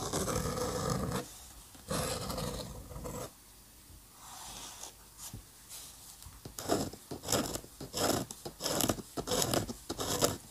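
A steel-nib dip pen scratches ink hatching onto a flat paper drawing sheet. Two longer, dense scratchy strokes open the clip, followed by a quieter stretch of soft rasping. It ends in a run of quick, short, bright scratches repeating at an uneven pace.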